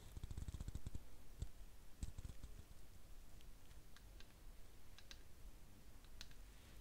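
A small round ceramic candle jar holding a lit candle is held in both hands and tapped on the outside with fingernails. A quick run of soft, dry clicking taps comes in the first second, then scattered lighter taps with bright ticks over a faint low rumble. Each tap dies away almost instantly, and the whole clip stays quiet.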